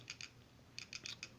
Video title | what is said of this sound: KELTEC P11 REVIEW! | for some reason when you shake it it makes that sound